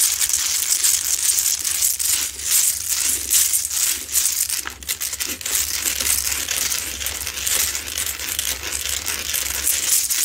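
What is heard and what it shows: Long nails scratch rapidly and roughly across the solid, rough salt crystal surface of a lit, medium Himalayan salt rock lamp. The result is a dense, continuous, bright gritty rasping, with brief dips in between and a faint steady low hum underneath.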